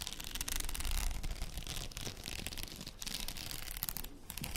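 A plastic faux pearl padded headband is held with both hands close to the microphone while long nails scratch along its rows of beads. The result is a continuous, dense scratching and rubbing texture with quick bright clicks over a low rumble.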